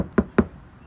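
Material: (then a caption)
Damped sheet metal. Two knocks on a trunk panel of a 2021 Tesla Model 3 SR+ that is covered with sound-dampening material. Each knock gives a short, dull thud that dies away almost at once. The panel sounds solid, unlike the still-undamped trunk lid.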